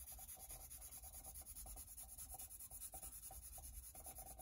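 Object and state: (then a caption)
Pencil scratching on a rubber carving block. A pencil tip is scratched and rubbed back and forth across the surface of a solid white rubber printmaking block on a wooden table to shade a drawing. The result is a steady, quiet, dry scratching in rapid repeated strokes, with a bright hiss above and a low rumble underneath.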